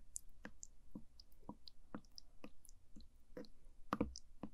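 A wooden spoon pokes and stirs the surface of orange sticky jelly pudding that fills a small translucent plastic cup. Quiet, short sticky clicks follow one another in an irregular rhythm, each with a soft low body and a faint bright wet tick, dying away almost instantly.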